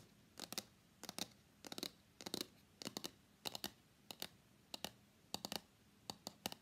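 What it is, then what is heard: Cardboard phone box. Fingers tap and scratch the sides and face of a small, hollow, closed white cardboard iPhone X box held upright in both hands. Quick, dry clusters of two or three bright, crisp taps with a papery scratch repeat steadily against a quiet background, each tap dying away almost instantly.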